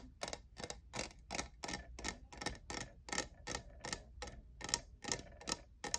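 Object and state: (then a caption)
Textured plastic tumbler. Fingernails tap the sides of a hollow, lavender, diamond-textured plastic cold cup in an uneven rhythm, giving 17 short, dry, bright clicks. Each click dies away almost instantly over a faint, steady low hum.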